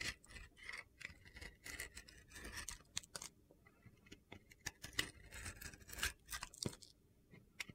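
A utility knife blade carves slices and chips off a red-blue glitter-coated bar of soap. The result is a quiet run of crisp, bright scraping cuts and short gritty ticks, with brief pauses between strokes.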